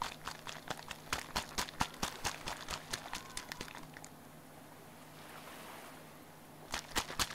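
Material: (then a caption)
Plastic. A small hollow pink plastic bottle is shaken rapidly in one hand and tapped with the fingers. A quick, uneven run of sharp, bright plastic clicks and taps with almost no ring carries a faint low hum beneath it. The taps stop for a few seconds of quiet hiss, then a short final burst of clicks closes the clip.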